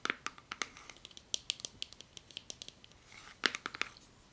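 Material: Plastic.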